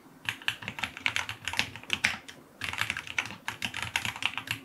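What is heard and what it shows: A white full-aluminum QK75 75% mechanical keyboard with white and dark green plastic keycaps, a brass knob, an FR4 plate and lubed linear switches sits on a desk and is typed on with fingertips in continuous key presses. The result is a steady run of short, bright, crisp clacks that die away quickly, with little low end and a brief pause midway before the typing resumes.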